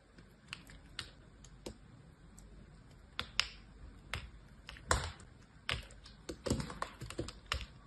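A solid green bar of soap, cut into many thin stacked slats, is held in both hands while long painted nails and fingertips press and flick through the slats. About seventeen sharp, bright clicks and crumbling taps come at an uneven pace over a soft, steady background hiss.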